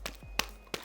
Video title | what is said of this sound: 광고❌ 좀 많이.. 솔직한😅 바닐라코 NEW! 에센스 스킨 핑크 쿠션 팩폭 비교리뷰🔍 (vs 얼티밋 화이트 모이스처) - 쿠션리뷰 후니언 - 쿠팡 뷰티템 | 뭔가 짠득하게 착 이런 느낌이 있잖아요 얘는 조금 더 밀착력이 있는 제형이에요